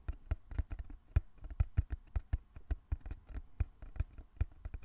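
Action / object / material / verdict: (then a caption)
tap / small closed cardboard box / cardboard / none. Fingertips tap rapidly on the sides of a small, closed, hollow brown cardboard box held in both hands. The result is a quick, uneven patter of soft, low, hollow thuds, each one dry and very short with almost no ring.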